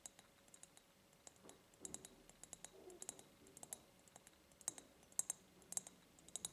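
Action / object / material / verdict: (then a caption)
tap / ribbed glass jar / glass / none. A medium, empty ribbed clear glass jar, held tilted, is tapped rapidly with long nails on its ribbed glass. The result is a quick, irregular string of sharp, bright clicks that die away almost instantly, with a few soft, lower brushing sounds between them.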